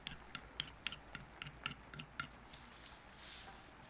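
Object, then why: Soap bar under a carving knife. A wooden-handled carving knife shaves and carves a solid bar of soap held down on paper, making about ten quiet, crisp, bright scraping ticks at a slightly uneven pace. Near the end, a soft, airy rustle follows as the shavings fall onto the paper.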